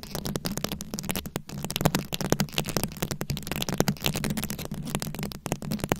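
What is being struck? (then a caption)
Rhinestone-studded microphone head scratched with long nails. Long nails scratch across the rhinestone-studded head of a rhinestone-covered microphone. A dense, close run of crackling, rattling scrapes fires in quick short bursts, each dying almost instantly, over a steady low hum. The bright clicks sit on a heavy low-end rumble.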